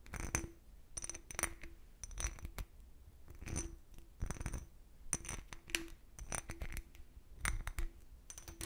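An empty, clear cut-crystal glass decanter, held sideways, is tapped with fingernails in quick, irregular clusters of clicks. Each tap gives a short, bright glassy tick over a faint tone near 336 Hz, which dies away almost at once.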